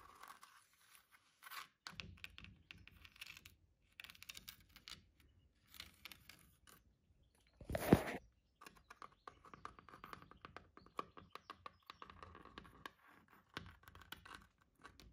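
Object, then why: Brick wall with mortar joints. Long painted fingernails scratch and tap along a solid red brick wall and its rough, sandy mortar joints. Quiet, gritty scraping and crackly taps come in short bursts throughout, with one louder, brighter rasping scratch near the middle.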